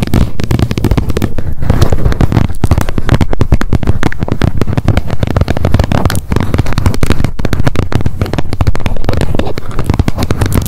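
Long nail tips rapidly tap the top edge of the plastic lid on a wet wipes pack held upright. The result is a dense, continuous stream of quick, dry clicks with a heavy low-end thump, each tap cutting off almost immediately.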